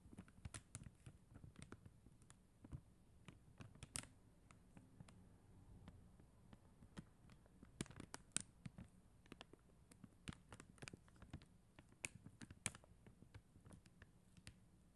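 Long acrylic nails tap the plastic gems on a flat acrylic rhinestone sticker sheet with a white backing. The result is a quiet, steady scatter of crisp, bright clicks that stop instantly, over a soft low rumble.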